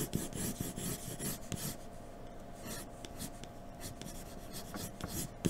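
A graphite pencil in a blue holder scratches shading strokes across a flat sheet of white drawing paper on a dark table. Quick, uneven rasping strokes repeat throughout, louder and more distinct at first, then settling into a softer, continuous scratching with a few sharper strokes near the end.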